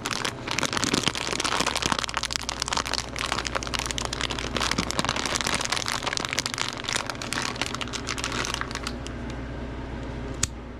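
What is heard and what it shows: A hand-sized, sealed clear plastic bag full of wrapped watermelon salt water taffy is held and squeezed by gloved fingertips, giving dense, bright crinkling and crackling for about nine seconds over a faint low hum. The crinkling then thins out as the bag is set down on a fabric mat, with a single sharp tick near the end.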